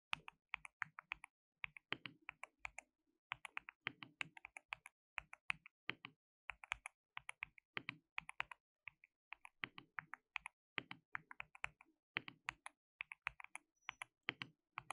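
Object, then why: Plastic mechanical keyboard. A compact white plastic mechanical keyboard with pale keycaps and a hollow case, resting on a dark desk mat, is typed on with the fingertips of both hands. Steady bursts of quick, bright, clacky taps come in short runs with brief pauses, each keystroke dry and cut off at once with almost no ring.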